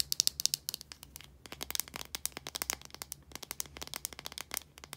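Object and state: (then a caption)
Plastic deodorant stick. Long nails tap and scratch the casing of a small plastic deodorant stick with a blue body and a translucent cap, filled with solid deodorant. The result is a quick, steady stream of bright, dry clicks and scratchy ticks with no ring, loudest in the first half-second, over a faint low hum.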